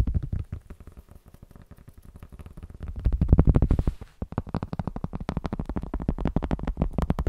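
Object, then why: Cork. Cork is tapped rapidly with fingers or a light tool in quick, uneven bursts, giving a dull, low, woody knocking with no ring. The taps soften for a stretch, grow loudest near the middle, pause briefly, then continue at a steady, dry patter.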